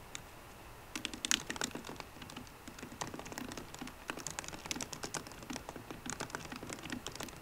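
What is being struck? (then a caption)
Aluminum laptop keyboard with plastic keys. Fingertips with short green nails type on the low-profile plastic keys of a 13-inch aluminum MacBook Pro. After about a second of near silence, a steady run of quick, bright, clicky taps follows, each dying away almost instantly with little low end. The irregular typing rhythm continues to the end of the clip.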